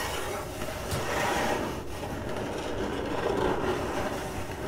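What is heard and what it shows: Long acrylic nails on both hands scratch fast across the side of a hollow, printed corrugated cardboard box. The result is a continuous, dense, rough scratching with a low, hollow body underneath, holding a steady level throughout with slight swells.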